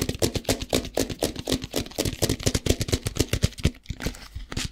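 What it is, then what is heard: Plastic tub filled with rice. A plastic tub filled with rice, held in both hands, has its sides tapped with the fingertips. The quick, uneven run of short, dry taps has a low, hollow thump and a bright, crisp edge. The taps briefly pause near the end, then resume.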